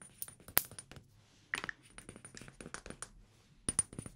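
A small amber glass perfume bottle with a black cap and paper label is tapped with fingertips and nails. Irregular, quiet clicks and taps come in uneven clusters, with bright high ringing glassy accents.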